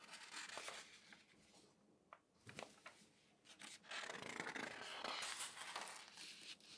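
Fingertips and flat hands rub and smooth across the spread pages of a large open newspaper of thin newsprint lying flat on a table, with some page handling. Bright, papery crinkling and rustling swishes come in uneven bursts, easing into a quieter stretch with a few sharp sweeps. It then builds to a louder, steady rustle toward the end.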